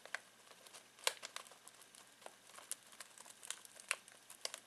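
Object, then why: Foil-plastic snack bag of pistachios. Fingertips scratch and crinkle a full foil-plastic snack bag of pistachios. The result is quiet, bright, crackling rustles with sharp, short snaps scattered throughout and almost no low end.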